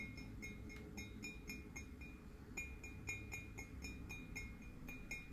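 A hollow white and red glazed ceramic skull-shaped mug is held and tapped with fingernails in a quick, uneven rhythm. Each light click rings with a clear bright tone around 2.4 kHz over a steady low rumble in the background.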